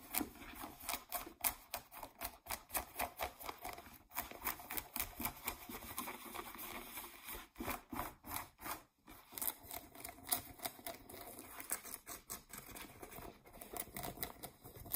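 Long nails scratch and rapidly tap the fabric surface and waistband of blue denim jeans. The result is a quiet, fast, irregular stream of dry, short, bright scratchy clicks and rasps with very little low end and almost no ring.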